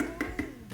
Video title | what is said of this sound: 2024 CLEAN WITH ME - CLEANING MOTIVATION - SPRING CLEAN WITH ME - FARMER'S MARKET HAUL - MOM LIFE | if it sounds Hollow like this then it's ripe